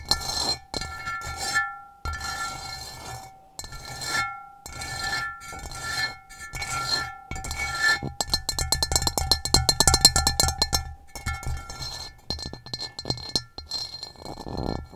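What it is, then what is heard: Ceramic bowl tapped with nails. Long nails tap and scratch the textured bottom of an upside-down, hollow, empty gray rough ceramic bowl. The result is a quick, irregular patter of short, bright clicks with a faint ringing tone, building to a dense flurry in the middle before slowing again.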